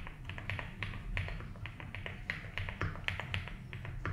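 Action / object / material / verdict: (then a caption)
tap / mechanical keyboard with plastic keycaps and case / plastic / none. Fingertips slowly type on a 75% mechanical keyboard with ABS keycaps in a light blue plastic case. A steady run of crisp, bright plastic clacks, each with a short low thump underneath, sounds over a soft continuous low hum.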